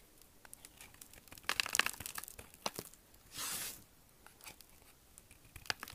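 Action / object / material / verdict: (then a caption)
scrape / bar of soap cut with a knife / soap / none. A solid, dry, hard green bar of soap held in one hand is shaved and carved with a small steel kitchen knife, with flakes falling onto the table. Crisp, bright scraping and chipping clicks come in quick bursts, then a longer hissing scrape follows before more sparse chips.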